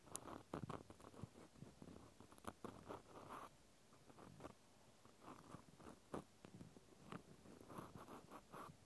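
A small white plastic clothespin held in the hand is scratched with the tip of a cotton swab. Soft, dry scratching and rubbing come through in irregular bursts, punctuated by brief sharp clicks. The sound is quiet and close, mostly in the low-to-mid range, with a faint bright edge on the sharper strokes.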